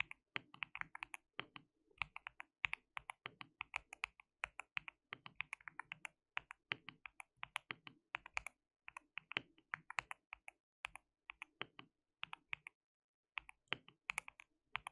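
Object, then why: Mechanical keyboard with plastic keycaps. Fingertips of both hands type continuously on a white mechanical keyboard with plastic keycaps. The result is a steady run of short, bright clicks with almost no ring, dense bursts separated by brief pauses, and a quiet level overall.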